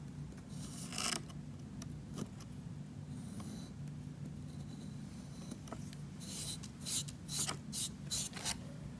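A thin pointed metal tool scratches and engraves letters into a solid, palm-sized white block of CAP brand magnesium gym chalk, which sits in its opened paper wrapper while hands hold it steady. Dry, bright rasping scrapes come in short strokes over a low steady hum, with a denser burst of quick scratches near the end. Powdery grooves are left in the soft chalk surface.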